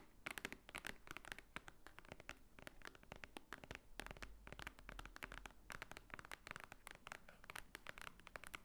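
Long nails tap and scratch across the top of a large, thick, solid block of white paper pages. Quick, dry, bright clicks come in dense bursts over a soft papery scratching, and each tap dies away almost instantly.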